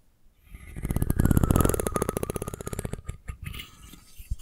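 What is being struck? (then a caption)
Wooden comb. A solid wooden comb with a curved spine and fine teeth is held horizontally above the mic while long nails tap the spine and scratch across the teeth. A rapid, dry ticking run builds to a dense, low-heavy rattle, then thins into sparser taps and scratches. The sound is close and muffled with almost no ring.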